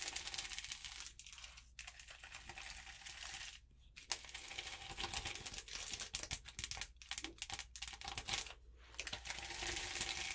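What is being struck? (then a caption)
Acrylic rhinestone sticker sheet on paper. Long purple-polished nails tap and scratch across a flat rainbow sheet of small acrylic rhinestones on an adhesive backing, lying on notebook paper. The result is a dense, bright stream of fine crinkly clicks and scratches with little low end, broken by a few brief quiet gaps.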